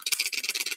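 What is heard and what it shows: A plastic fishing wobbler lure with treble hooks, from an AliExpress order, is shaken so the loose rattle balls inside its body knock back and forth. The result is a quick, steady run of bright, dry clicks with almost no low end and very short decay, like a small rattle.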